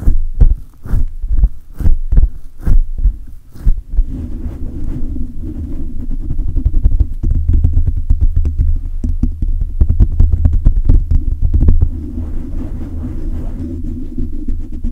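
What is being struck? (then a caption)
Metal mesh microphone grille. Hands grip a silver condenser microphone with a hollow metal mesh grille, then fingertips rub the sides of the mesh. The first four seconds bring deep, muffled thumps from the gripping, which give way to a continuous low, rumbling scrape with rapid flutters. Almost all the energy stays in the bass, with a steady low hum beneath it and no bright content.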